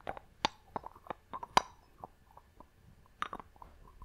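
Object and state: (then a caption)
Glass box with wooden lid. Long nails tap on a small clear glass box with a wooden lid held in both hands, striking both the lid and the glass. The result is an irregular series of quiet, sharp clicks that die out almost instantly, each with a bright, tinkly tone centered near 1 kHz.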